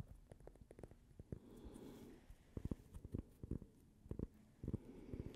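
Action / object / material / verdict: tap / cork coaster / cork / none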